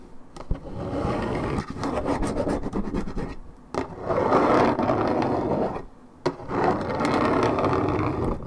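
Long red nails scratch back and forth across a hollow Minute Maid 1.75 L coated paperboard orange juice carton of unknown fill. The result is a dense, rough, low-to-mid scratching rasp in repeated strokes, with brief pauses and a few sharp ticks between passes.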